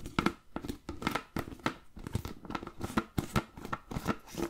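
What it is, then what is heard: Plastic food container with lid. Fingertips and nails tap and scratch the blue plastic lid and sides of a medium-sized, clear plastic food container that is hollow and appears empty. The result is a quiet, rapid series of short, dry clicks and scratchy rustles with a hollow low resonance and a faint midrange ring, each hit dying away almost instantly.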